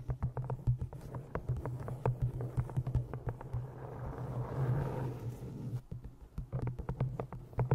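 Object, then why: Cloth-bound hardcover book. Fingernails tap and scratch the cover of an old green cloth-bound hardcover book held in front of the microphone. Rapid, dull, low taps sit over a steady low hum, with a denser stretch of soft scratching in the middle before the crisp tapping returns.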